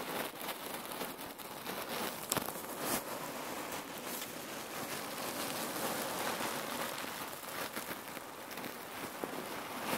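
A red patterned cotton neck warmer pillow filled with cherry pits is squeezed and scrunched with both hands. The shifting pits make a steady, dense crackling rustle with a few slightly sharper clicks.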